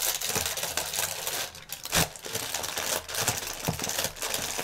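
A clear plastic air-pillow strip of air cushion packaging film is pinched and twisted in one hand while the other hand presses it, crumpling the thin plastic film. Dense, bright crinkling and crackling run throughout, with a sharp louder crackle near the middle and brief quieter stretches between bursts.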